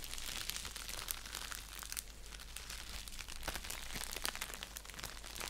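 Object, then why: Padded bubble mailer envelope. An orange padded bubble mailer envelope resting on a blanket is scratched and crinkled with fingertips and nails. The sound is a dense, continuous crinkle of bright crackles and scratches over a steady low hum.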